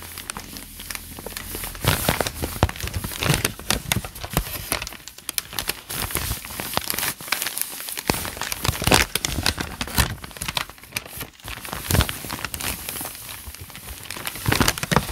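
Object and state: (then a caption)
Notebook paper pages crinkled. The fingertips and palms of both hands rub and crinkle the blank lined pages of a thick notebook lying open on a desk. A faint low hum opens the clip before dense, bright crinkling and rustling takes over, with sharp crackles and swishes continuing throughout.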